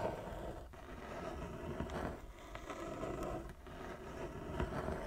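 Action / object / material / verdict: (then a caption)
scrape / wooden chess board / wood / none. Long nails scratch back and forth across a large, flat wooden chess board with inlaid squares. The result is a steady, dry scraping rasp with a low rumble beneath it, swelling and dipping with each stroke.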